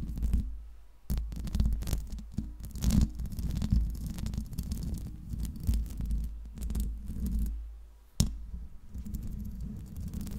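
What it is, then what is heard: Metal microphone grille. Long acrylic nails tap and scratch the hollow metal mesh grille of a large silver Blue Yeti USB microphone with a metal body. The sound is a dense run of close, deep thumps and scrapes over a steady low hum, with brief sharp clicks such as one near the end.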